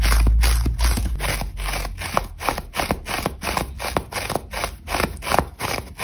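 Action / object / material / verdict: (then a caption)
scrape / old foam sponge / foam / none. Long nails and fingertips scratch and rub fast across a dry, brittle old foam sponge that is worn and crumbling, with foam crumbs falling off. The clip is a quick, uneven run of short, crunchy, scraping strokes over a low rumble, each dying away almost at once.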